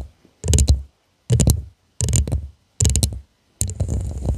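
Long nails tap and scratch along the sides of a hollow purple glass tumbler with a studded, faceted surface, held upside down in both hands. Five separate bursts of quick tapping and scraping each blend deep, hollow thumps with bright, crisp clicks, with short silences between them.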